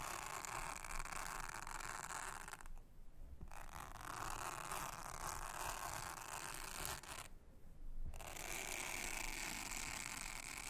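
A soft toothbrush brushes a thin, solid, round blue silicone honeycomb trivet mat, producing a steady, bright scratchy rustle with a low rumble underneath. The brushing briefly stops twice, leaving near-quiet gaps, then resumes at the same even pace.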